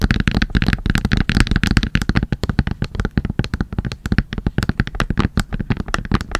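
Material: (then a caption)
Plastic. A full Sanrio makeup wipes pack, a soft plastic pouch with a hard plastic flip lid, is held in both hands and tapped and scratched with long nails. Rapid, dry taps come in a steady stream, each a short, deep thud with a faint crinkly edge that dies away almost at once.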